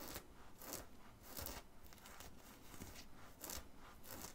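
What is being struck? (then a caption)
Cotton t-shirt. Fingertips and nails scratch the fabric near the collar and chest of a worn black cotton t-shirt with a red and white print. Quiet, bright, scratchy rasps come in repeated strokes at an uneven pace, with a soft low rumble underneath.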